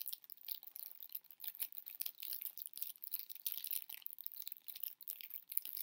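A small heart-shaped chocolate box with a Peanuts print, wrapped in clear cellophane, is held in both hands while fingers and nails crinkle and scratch the wrapping. Quiet, bright, dense crackling and scratching with no low end runs steadily throughout, in rapid irregular bursts.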